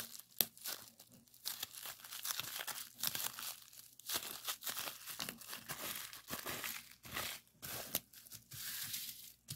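Clear plastic bubble wrap with hollow bubbles, rolled into a tube and then laid flat, is squeezed and pressed with fingers. Quiet, bright crinkling and crackling come in uneven bursts, with one sharp snap near the start and brief pauses between the handling sounds.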